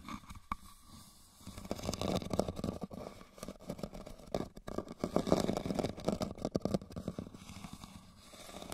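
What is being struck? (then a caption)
Woven rattan basket. Fingernails scratch the woven base and sides of a hollow red woven rattan basket held tilted. Dense, irregular scratchy crackles come in uneven bursts, with a soft low rumble underneath. The bursts swell and fade across the clip, with brief quieter gaps between them.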